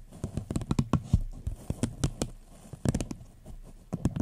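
A small, hollow, empty paper cup with a floral print, turned upside down, is tapped with long fingernails. The result is a quick run of short, dull taps with a low, hollow body and faint bright clicks, each stopping almost at once. The taps come in uneven bursts with brief pauses between them.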